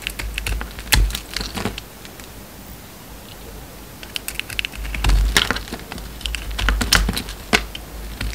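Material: Soap.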